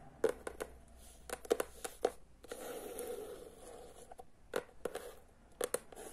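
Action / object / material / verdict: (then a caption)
tap / hardcover book cover / cardboard / none. Long nails tap and scratch rapidly over the cover of a teal hardcover book. Quick, dry, clicky taps come in small bursts, and a soft, continuous scratchy rustle fills the middle of the clip. The taps ring very briefly and have a hollow midrange tone.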